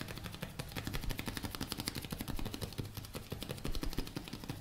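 A blue plastic cosmetic tube with a cap is held in one hand and tapped with the fingertips of the other hand. Rapid, irregular tapping produces a dense stream of short, dull thuds with bright clicky edges that die away almost at once.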